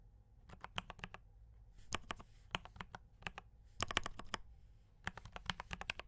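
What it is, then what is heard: Mechanical keyboard with plastic keycaps. Fingertips type quickly on a D84 mechanical keyboard with brown switches and cream and red plastic keycaps. Sharp, bright clicks come in fast bursts with short pauses, and each keystroke dies away almost instantly over a faint low hum.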